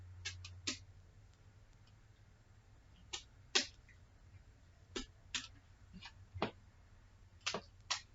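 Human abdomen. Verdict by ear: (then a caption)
Hollow. A nurse percusses a patient's abdomen by tapping it with her fingers, producing short, dull, hollow taps over a low background hum. Ten taps are heard at an irregular pace, and the abdomen sounds normal.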